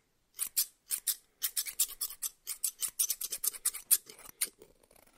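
A small, solid pair of steel barber hair-cutting shears is held in one hand close to the microphone while the fingers open and close the blades so they slide and rub against each other. About 23 quick, bright metallic snips and scrapes follow in a rapid, uneven rhythm, each dying away almost instantly with almost no low end. The last few are softer.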